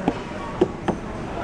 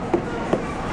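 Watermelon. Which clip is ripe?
The second.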